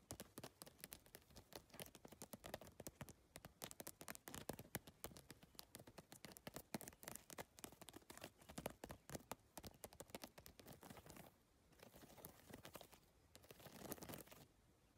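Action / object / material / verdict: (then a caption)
tap / plastic-tiled handbag / PVC plastic / none. Long nails tap and scratch rapidly across a holographic geometric handbag made of iridescent PVC plastic tiles, giving a dense stream of sharp, bright clicks for about eleven seconds. The sound then shifts to a softer, continuous sweeping scratch as the hand brushes over the tiled surface, swelling briefly near the end.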